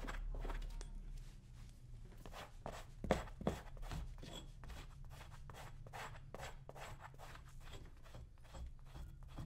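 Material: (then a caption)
Leather. A small metal blade held in the fingers scrapes old cream off a brown leather cowboy boot worn on a foot. Quiet, dry scraping strokes repeat at a steady but uneven pace, each short and rasping with little ring, with a couple of sharper, louder scrapes near the three-second mark.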